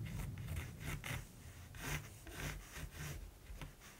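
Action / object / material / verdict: scrape / graphite pencil on gesso-primed linen canvas / linen canvas / none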